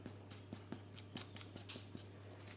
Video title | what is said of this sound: EASTER BAKING~ Hot Cross Buns! | I just need to tap it and listen to hear whether it's Hollow